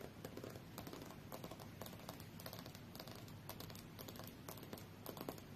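Long fingernails tap quickly on the solid glass screen of a tablet lying face-up on a fur rug. The taps are light, dry and clicky, with bright edges that die out almost at once over a soft low background hum.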